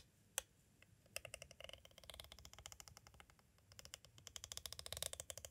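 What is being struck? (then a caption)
Hard plastic cassette tape case. A green striped pointed tool taps and traces along the side of a clear, hard, hollow plastic cassette tape case standing at an angle. One sharp tap comes first, then runs of quick, dry, bright clicks with almost no ring. After a brief lull, a denser, steadier stretch of ticking follows, all at a soft level.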